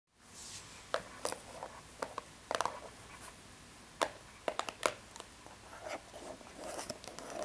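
Long red acrylic nails tap and scratch across the front face of a Hari Tea "Buddha Box," a small, hollow, rectangular printed cardboard box with embossed foil decoration, held upright. Sharp, dry, bright clicks land in an irregular scatter over a soft, crackly scratching hiss. Each tap dies away almost instantly, with little low end.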